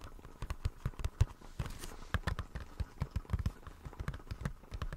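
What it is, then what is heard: Plastic blister pack tapped. A small, hollow retail blister pack, a clear plastic shell on a white printed card, is held in the hands and tapped and scratched with fingertips and nails. A quick, irregular run of soft, dull, hollow taps sits mostly low in pitch, with a light scratching texture between them. The taps are short and die away almost at once, and the overall level stays quiet.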